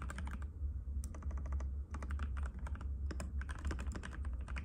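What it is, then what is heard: Plastic mechanical keyboard. Fingertips from both hands type rapidly and continuously on a compact cream-white mechanical keyboard with plastic keycaps and a hollow case, resting on a glass table. Dense, sharp, bright clicks ring over a steady low hum.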